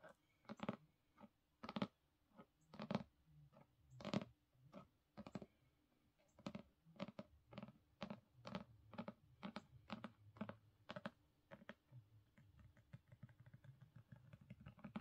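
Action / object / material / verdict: tap / hardcover book cover tapped and scratched with fingernails / cardboard / none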